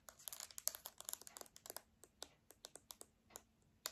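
Long dark painted nails tap and scratch the rubber buttons and casing of a hand-sized, hollow silver-grey plastic TV remote held up close, and the remote is turned over to its dark back. About 21 quick, dry, bright clicks and scratchy ticks come in irregular bursts, each dying instantly with no ring.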